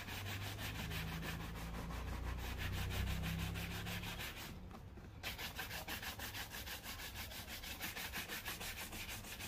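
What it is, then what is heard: Leather shoe being brushed. A black leather loafer held in one hand is brushed along its side and toe with a wooden-backed bristle brush, giving a steady, rhythmic scratchy rubbing with bright bristle hiss over a low hum. The strokes pause briefly near the middle, then resume in quick regular passes.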